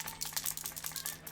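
A plastic game controller is shaken to show a loose piece rattling inside. The piece sometimes keeps the left trigger from going down, so the controller has to be shaken to free it. Quick, bright, clicky rattles run through the clip over a steady low hum.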